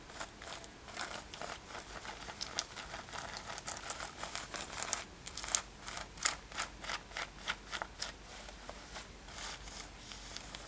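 Long nails scratch across a worn light-blue denim lace-up top with metal eyelets, making a steady run of quick, dry rasping strokes. The sound is soft and bright with little low end, and some strokes stand out as sharper scrapes.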